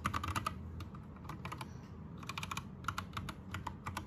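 Fingertips type on an Anne Pro 2 60% mechanical keyboard with plastic keycaps and rainbow backlight. Quick, irregular clacky keystrokes come in bursts with short pauses, over a steady low rumble.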